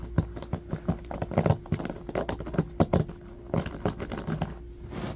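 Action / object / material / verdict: scrape / small bamboo hairbrush with bristles / bamboo / none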